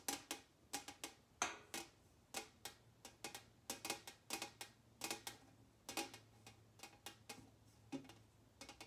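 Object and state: Metal tin lid.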